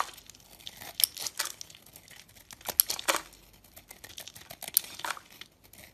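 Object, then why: Bar of soap carved with a blade. A utility blade shaves and carves a dry, crumbly, hand-sized white oval soap bar, cutting it into flaky curls and powder. Irregular bursts of crisp, bright scraping and crumbling crackle sound close up, with no low end and almost no ring.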